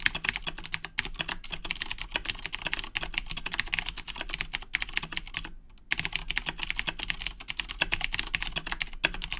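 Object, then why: Plastic mechanical keyboard. Fingertips type rapidly on the plastic keycaps of a black Razer BlackWidow 2010 Edition mechanical keyboard with clicky Cherry MX Blue switches. A dense stream of sharp, bright clicks and clacks continues throughout, broken only by a brief pause just before the six-second mark.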